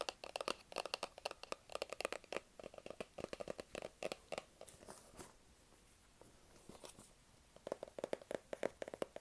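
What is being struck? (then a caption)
Small cardboard box. Fingertips and nails tap and scratch the surfaces of a small, hollow white cardboard Apple iPhone box held close, giving dozens of quick, dry, hollow taps with a papery crinkle. A quieter stretch of soft scratching sits in the middle before the rapid tapping resumes.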